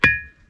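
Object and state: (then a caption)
Ringing, metallic-sounding rock. A single strike on a rock boulder gives a ringing, metallic-sounding tone rather than the normal dull knock of ordinary stone. A sharp attack carries a clear high pitch near 2.4 kHz along with a tone near 1.7 kHz, and both ring on faintly for about half a second.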